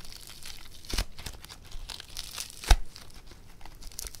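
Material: Foam beads.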